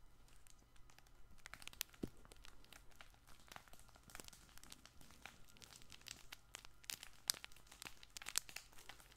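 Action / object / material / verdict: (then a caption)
scrape / fabric plush baby ball toy / fabric / none. A fabric plush baby ball toy with a yellow handle is held up and squeezed and scratched with the fingers of both hands. Quiet, bright crinkling and scratchy crackles come in rapid bursts, with a few sharper pops standing out over a faint, steady low hum.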